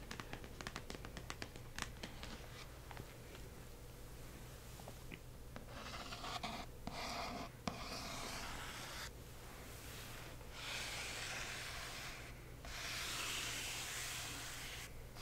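Long acrylic nails tap quickly across the front of a large, hollow cardboard shipping box printed with "Accio!" and twine, which is held upright. The sharp, light taps then give way to longer, hissing scratches as the nails trace over the printed surface, all above a steady low hum.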